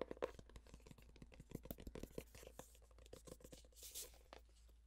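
Long painted nails scratch and rub quickly across the flat paper-covered cardboard cover of a navy floral hardcover notebook or planner with a sticker label. The result is a rapid, irregular series of dry, crackly scratches and taps with a soft, bright brushing swell near the end, all over a steady low hum.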